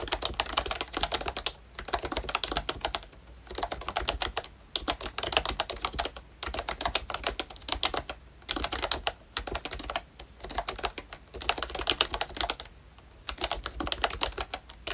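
Both hands type with their fingertips on a pink plastic ROYCHE Disney Mickey Mouse retro membrane keyboard with round black keycaps. The result is bursts of rapid, soft, bright clicking and tapping, broken by short pauses.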